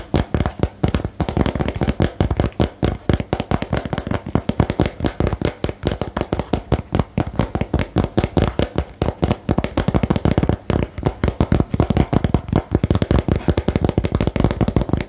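Long nails tap on a small, hollow, rectangular cardboard box for the "Geheimakte" card game. The many short, dull, low taps have almost no ring and come in a steady run that changes between slower and faster bursts.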